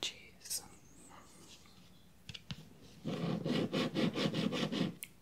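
A Florida Lottery "Cash Deluxe" scratch-off ticket of thin coated cardstock lies on dark fabric, held flat by one hand while the other scratches the silver latex panel at the bottom with a fingertip, nail or small tool, revealing purple symbols. After a quiet stretch with faint rustles and a couple of soft clicks, a run of quick, rough scratching strokes begins, each a gritty, bright burst. The strokes come at a fairly steady rubbing pace.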